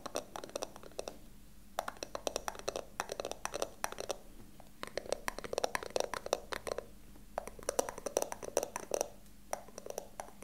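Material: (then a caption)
Wood. A small hollow wooden box with a carved pattern is held in both hands and tapped and scratched with fingertips and nails. Quick bursts of dry, clicking taps with a hollow midrange tone come in uneven clusters, separated by brief pauses and a soft scratching texture. Each tap stops almost instantly, with no ring.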